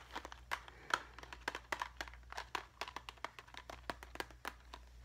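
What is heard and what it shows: A small, clear, hard plastic cube box filled with plastic rhinestone craft gems is held in both hands, squeezed and shaken while fingernails tap and scratch its plastic sides. About two dozen quick, sharp clicks and rattles sound close together, crisp and bright around 1.3 kHz, with each tick dying away almost at once over a faint low hum.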